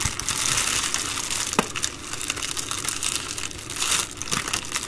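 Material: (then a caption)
Plastic. An empty Amazon Prime poly bubble mailer is folded and crinkled along a crease by fingertips and long nails. The result is a steady, bright plastic crinkling with dense crackles and a few sharper snaps, mostly in the high range with little low end.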